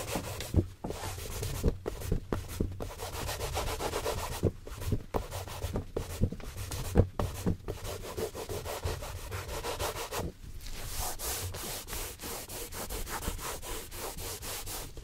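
A gloved hand rubs and buffs a hollow brown leather cap-toe dress shoe, possibly a Santoni, held on a shoe stand, using a yellow cloth. Quick, steady rubbing strokes give a dull, low swishing texture with occasional soft knocks. The strokes turn slightly brighter and more even toward the end.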